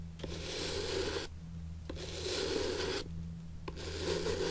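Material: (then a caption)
Leather. A natural bristle brush is rubbed across the leather sole of an antique shoe held on its side, sole up. Bright, dry scratchy strokes come in a loose back-and-forth rhythm, separated by short quieter gaps, over a steady low hum.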